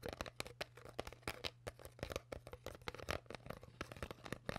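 Hands squeeze and crinkle an empty, partly crushed clear PET plastic bottle with a cap while long nails scratch its surface. The result is a rapid, uneven stream of sharp, dry plastic crackles and snaps with bright scratchy texture, each dying away almost instantly. A steady low hum runs underneath.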